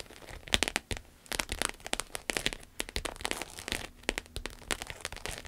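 Long acrylic nails tap and scratch a small, flat, red glossy croc-embossed vinyl wallet lying on a table. Quick, dry, bright clicks and crackly scratches come in irregular bursts, with little low end and almost no ring after each hit.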